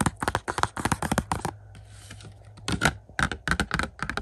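Fingertips tap quickly on the glossy cardboard slipcover of a hollow plastic 4K UHD Blu-ray case of Top Gun Maverick held in hand. Rapid, dry, clicky taps with a hollow plastic knock come in bursts, broken by a brief quieter stretch of soft scratching before the tapping resumes.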